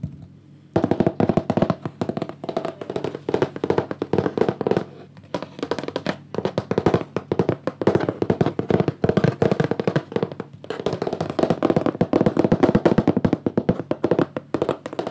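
Fingertips and nails tap rapidly along the sides of a wooden picture frame with a green mat, held in one hand. The taps are dry, short, hollow knocks with a warm low-mid body and almost no ring. They come in quick, uneven flurries after a brief quiet start, with short pauses near the middle.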